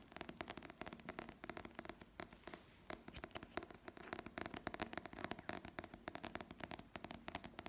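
Fingertips and nails tap and scratch the glossy paper cover and spine of a small paperback novel held in the hand. The result is a quiet, rapid run of dry, crisp clicks and brushing scratches with bright edges and almost no ring, coming in uneven bursts throughout.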